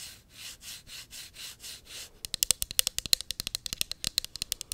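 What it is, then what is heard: Plastic pump bottle tapped and scratched with nails. A small, hollow pink plastic cosmetic pump bottle is held in the hand and scratched with long acrylic nails, giving soft, rhythmic swells of bright scraping. It is then tapped rapidly with the nails, producing quick, sharp, high clicks with almost no ring.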